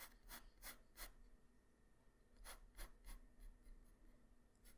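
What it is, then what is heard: Pencil strokes on paper. A graphite pencil tip draws strokes across a flat white paper sheet, making a quiet, bright scratching. Short rasping strokes come in two clusters with a pause between them, each a brief dry scrape with no ring.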